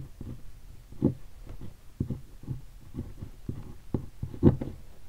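An index fingertip taps and scratches on a black textured leatherette hardshell guitar case that is densely covered in vinyl stickers. The result is a series of soft, dull, low thuds that die away almost at once, with faint scratchy rustling between them. There is no bright ring.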